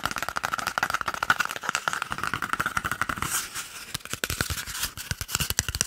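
A small, hollow, empty cardboard toilet paper tube is held close to the microphone and tapped and scratched quickly with fingertips and short nails. Rapid, dry, papery taps ring briefly with a hollow tone near 1.5 kHz, and a softer stretch of bright scratching sits in the middle before the fast tapping resumes.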